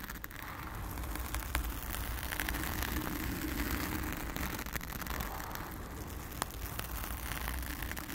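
Long acrylic nails on both hands scratch and tap a blue foam cover on a round studio microphone. The result is a steady crackling, rustling texture heavy in low rumble, with scattered sharp taps and faint bright clicks throughout.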